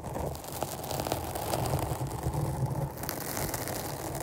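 Long nails scratch a rounded, black porous foam microphone cover held in both hands, producing a steady, dense, rumbling scratch with a heavy low-end muffle. Faint crackly ticks sit over the continuous textured rustle, which stays fairly even throughout.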